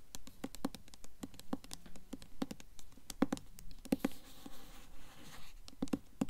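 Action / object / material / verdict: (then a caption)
tap / hardcover book with paper dust jacket / cardboard and paper / none. Long nails scratch and tap the front cover of a solid blue Mockingjay hardcover book, held upright, with a glossy paper dust jacket. Quick, dry ticks and scrapes come in an irregular patter, each dying away almost at once, with a soft, brighter rasp in the middle of the clip.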